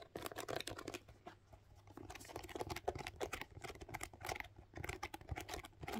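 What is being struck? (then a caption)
Rubber lug sole of a suede boot. Long pink nails scratch and tap the chunky rubber lug sole of a tan suede lace-up boot turned over to show its tread. The result is a quiet, dense run of dry, crackly scratches and quick clicky taps that stop short with no ring, bright in the upper range with a faint low rumble underneath.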